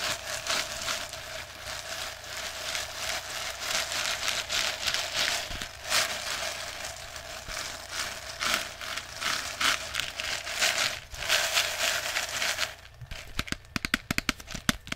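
A clear plastic jar partly full of plastic airsoft BBs is held in the hand and shaken. The BBs make a continuous bright, hissing rattle that rises and falls in surges. Near the end the shaking breaks into separate sharp clicks.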